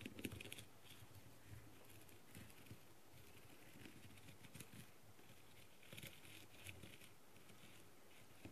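A green tool with a clear plastic tip scratches across the gem surface of a blue, plastic, rhinestone-covered masquerade mask. The result is a quiet, continuous scratchy patter with soft, bright crackles and occasional faint clicking taps.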